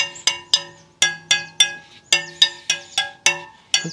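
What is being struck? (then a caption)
Carbon fibre bicycle wheel spokes. A blue hand tool taps or plucks the thin carbon spokes of an all-carbon bicycle wheel one after another as the wheel turns in a truing stand. Eleven short, bright, tonal clinks ring out at an uneven pace, each decaying quickly with a faint metallic shimmer.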